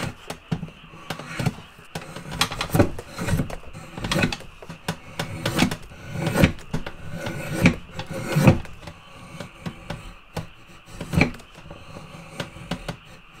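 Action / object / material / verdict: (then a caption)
scrape / pale softwood stick / softwood / none. A steel drawknife is drawn repeatedly across a solid octagonal stick of pale softwood with a drilled hole in the end, held in a shaving horse, peeling off curled shavings. Each pull is heard as a short, dry scraping rasp with a low, woody body, and the strokes come in an uneven series with brief pauses between them.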